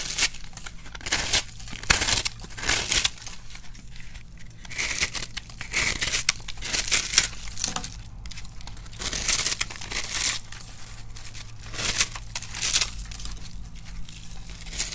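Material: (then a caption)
Starch soap. A metal blade scrapes into a solid pink-and-white crumbly dry starch soap block held by fingers with dark nail polish, breaking off crunchy flakes as crumbs pile up at the side. The clip is full of repeated bright, dry crunching and tearing scrapes in bursts, with short quieter gaps and a steady low hum underneath.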